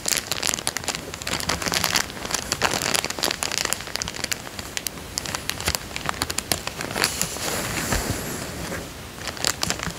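A small, empty, clear plastic coin bag resting on a fabric couch is pressed with the whole hand and crinkled by the fingertips. The result is a continuous stream of dense, bright crackling crinkles with many sharp snaps, steady at a moderate level throughout.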